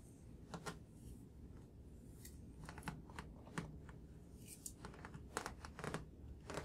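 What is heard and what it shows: Fingertips and nails tap on the glossy card cover of a thick paperback graphic novel, "A Drifting Life," whose solid block of paper pages is held in both hands. Quiet, irregular taps come in loose clusters: soft, dull thuds from the fingertips, with short bright clicks where the nails strike. Each tap dies away almost at once over a low, steady background hum.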